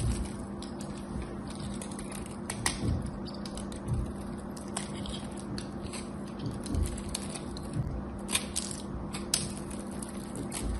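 A small metal craft knife scores and scrapes the surface of a solid, hand-sized rectangular bar of pale cream-orange soap, which is held in long-nailed fingertips over a pile of soap shavings. The carving gives crunchy, crackling cuts with brief bright ticks over a steady low hum.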